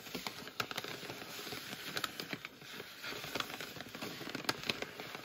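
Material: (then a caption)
Plastic. Fingertips and nails tap and scratch the surface of a medium, full, printed plastic bag of Simple Truth frozen potato puffs. The result is a quiet, steady, bright crinkling and crackling, dotted with sharp, short ticks and taps that die away almost instantly.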